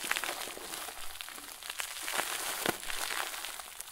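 A large, round white plastic bag full of soft, fluffy stuffing is squeezed and crumpled with both hands and fingertips on a wooden table. It makes a steady, bright, papery crinkling with a few sharper crackles that stop almost instantly.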